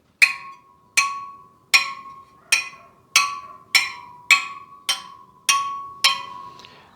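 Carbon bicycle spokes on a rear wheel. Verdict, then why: Even tension. Ten spokes on the other side of a Superteam All Carbon EVO rear wheel are tapped one by one with a plastic tire lever, each giving a sharp, bright tick with a ringing tone near 2.5 kHz and a steady hum near 1 kHz. The pitch stays nearly the same from spoke to spoke, showing the carbon spokes have even tension.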